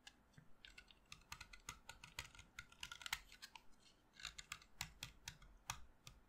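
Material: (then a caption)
Chalk. A solid white chalk stick held in the fingers is carved with a utility knife blade, producing around thirty quick, dry scraping and cutting strokes. Each stroke is a short, bright, crisp scratch that dies away almost instantly, with little low end beneath it.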